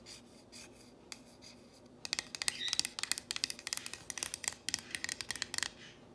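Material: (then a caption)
Painted wood. Fingernails trace and scratch along the letters of a solid painted wooden plank sign reading "If MaMa ain't happy." Faint, soft rubbing opens the clip, then turns into a quick run of sharp, bright, raspy scratching strokes from about two seconds on. The scratching fades back to quiet just before the end.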